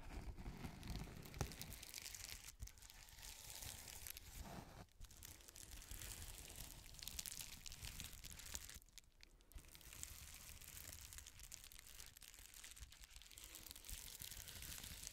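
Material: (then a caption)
Plastic. An iridescent plastic bubble mailer with a palette inside is crinkled and scratched with long nails while being turned over. A continuous, quiet crinkling and scratching is heard, with bright, crisp rustle layered over a low rumble. There are brief louder crackles and short dips in between.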